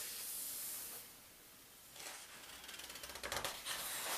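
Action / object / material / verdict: scrape / thin paper pages of a large atlas / paper / none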